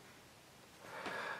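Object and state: Nothing is struck.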